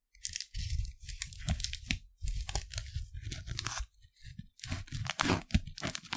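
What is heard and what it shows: An empty, thin, printed clear plastic Lindor candy wrapper is first stretched between both hands, then held by the fingertips in one hand and crinkled close to the microphone. Bursts of dry, bright crackling and tearing-like rustle come with a heavy low rumble of handling, separated by brief quiet gaps.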